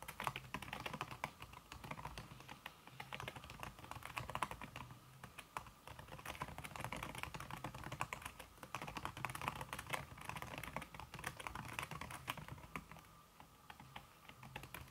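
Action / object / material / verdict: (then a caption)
tap / aluminum keyboard with silicone key cover / silicone / none. Fingertips with red-painted nails type fast on a slim, backlit aluminum keyboard whose keys are covered by a red silicone skin. The result is a continuous stream of short, muted, clicky taps with no pauses. A faint, steady low hum runs underneath.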